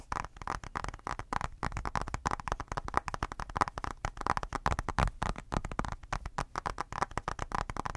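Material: Glass.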